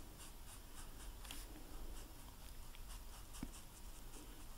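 A hand-held blue food-coloring marker rubs and scratches its tip across the dry, hard white royal icing of a large, flat, solid vanilla sugar cookie printed with a snowman while coloring it in. The sound is a quiet, steady run of soft, dry scratchy strokes with faint bright hiss over a low rumble, without any sharp hit.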